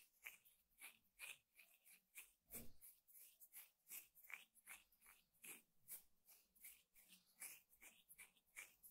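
Fingertips and short nails scratch and pluck at the coiled weave of a thin, flat, square woven rattan trivet (table mat) with a solid weave, lying on a table. About sixteen quiet, dry, bright scratchy bursts come in a steady rhythm, each dying away almost at once. Around the middle, one stroke adds a fuller, lower rub.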